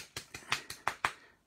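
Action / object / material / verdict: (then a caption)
shake / plastic spray bottle of ink with metal ball bearing / plastic, metal / none. A plastic spray bottle of icy pink pearlescent ink is shaken, and the metal ball bearing inside rattles in six sharp, bright clicks. Each click dies away almost at once. After a silent start, the bearing becomes audible, showing that the settled mica is loosening as the ink mixes.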